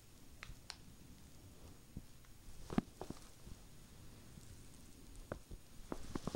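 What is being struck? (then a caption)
Knitted wool sweater fabric scratched by fingernails. Long painted nails scratch and rub across a red knitted Christmas sweater with a snowman pattern, spread flat. A quiet, low, muffled rustle runs throughout, broken by short, dry scratchy ticks that grow more frequent near the end.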